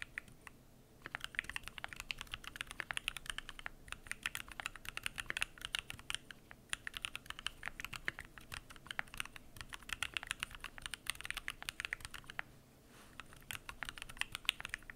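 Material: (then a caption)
Aluminum, plastic. Fingertips type continuously on a Keychron Q1 aluminum mechanical keyboard with PBT plastic keycaps. It makes a rapid stream of short, crisp, bright clicks centered near 2.7 kHz, with very little low end. The clicks pause briefly near the start and again around 12.5 seconds before resuming.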